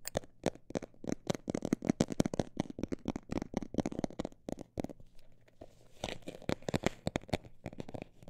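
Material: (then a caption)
Textured fabric. A textured cosmetic bag is tapped in quick, dry bursts that give off crinkly, papery clicks with almost no ring. The taps run fast and dense, thin out into a quieter stretch around the middle, then pick up again with a brighter, scratchier texture.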